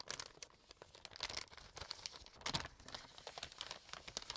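An empty brown kraft paper bag is opened and crumpled by hands and fingertips. The result is a dense run of bright, dry crinkling with sharp crackles bunched near 1.3 and 2.5 seconds.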